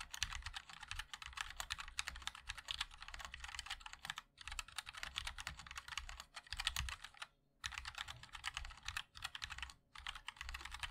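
Fingertips of both hands type continuously on a 60% MOD-L mechanical keyboard with a black aluminium case, white and black ABS keycaps and linear switches. The result is a dense run of short, bright clicks and clacks with a soft low thock beneath them. Brief pauses break the typing around 4.3, 7.5 and 10 seconds.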